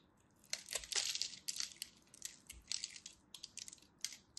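A craft blade scores a grid into a solid purple-and-white striped dry soap bar, held in fingers with long nails, and flakes chips off it. The result is a rapid series of crisp, bright scratching and crunching sounds, with short dry snaps and almost no low end.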